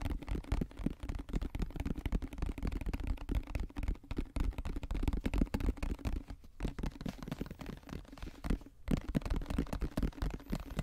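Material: Plastic.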